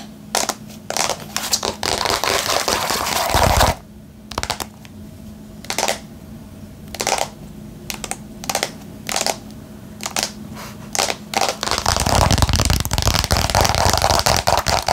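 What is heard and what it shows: Long painted nails tap rapidly on a small, hollow, printed cardboard card-game box, likely holding cards, held in both hands. Dense, crisp, bright taps fill the opening seconds, thin out into sparser separate clicks through the middle, then return as a fast cluster at the end. A faint low hum runs underneath.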